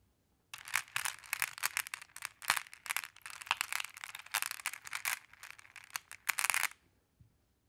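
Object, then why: Small flat glass pebbles in a wooden tray. Long blue-painted nails and fingertips run through and rake a large wooden tray full of small, solid, multicolored flat glass pebbles, making them clack against each other. A dense, bright rattle of clicks and clatters swells and eases for about six seconds, then stops, with one faint click after a short pause.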